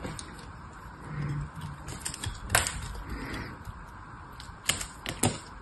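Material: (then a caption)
Soap. A purple solid bar of soap held in the hand is carved and scraped with a small metal knife blade. A soft, steady scraping hiss is broken by sharp, bright cracks as brittle flakes break off.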